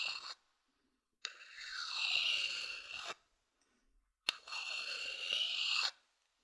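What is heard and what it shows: A thin wooden stick scratches across the outer base of a medium hollow wooden bowl. A short scrape cuts off at the start, followed by two long strokes of about two seconds each, each opening with a sharp tick. The dry, bright rasping carries almost no low end, and a faint whistling tone around 2.7 kHz rides on top, with silence between strokes.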